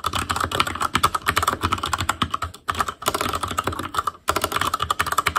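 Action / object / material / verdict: tap / plastic mechanical keyboard with metal plate / plastic / none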